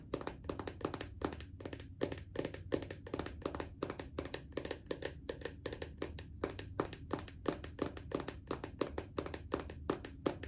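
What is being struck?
Plastic lotion bottle.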